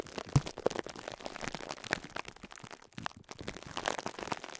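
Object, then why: Foam sponge wrapped in plastic film. Fingertips repeatedly press and crush a small yellow and pink foam sponge wrapped in clear cling film against a cloth. Dense, crinkly, crunchy plastic crackles run throughout, with a sharp, low-weighted pop near the start. The texture is soft and quiet overall, with bright rustling on top.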